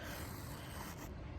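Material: Nothing is struck.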